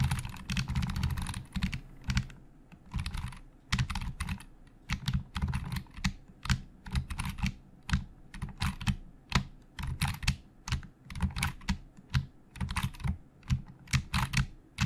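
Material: Plastic.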